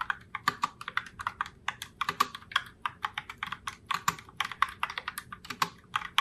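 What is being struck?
Mechanical keyboard with plastic keycaps.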